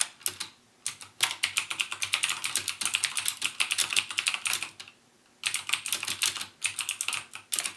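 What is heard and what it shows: Fingertips type rapidly on a backlit plastic mechanical gaming keyboard with clicky Cherry MX Blue switches, producing dense bursts of sharp, bright clicks. The bursts are separated by brief pauses, including a longer gap near the five-second mark.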